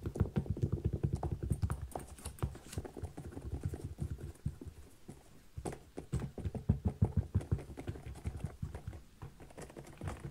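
Fingertips and nails tap and scratch the synthetic leather upper and thick rubber sole of a small kids' boot with a zipper. The result is a quick, uneven patter of soft, dull taps with a brief pause around the middle. The taps are mostly low, with very short decay and a faint scratchy texture.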